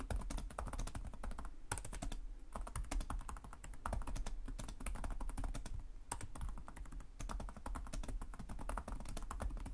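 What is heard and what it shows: Fingertips with short nails type continuously on the plastic chiclet keyboard of a black laptop resting on a desk. The rapid, dense key taps are dry, short clicks with a low thud beneath them, and the typing runs steadily with only brief lulls.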